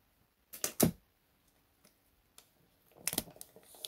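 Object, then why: Gift-wrapped cardboard box. Fingertips and short nails tap and drum on the top of a hollow, medium cardboard box with unknown contents, wrapped in cream and gold printed wrapping paper and standing on a desk mat. A few sharp, papery taps with a hollow thud come first, then scattered lighter taps, and finally a quick flurry of drumming. Each hit dies away almost immediately.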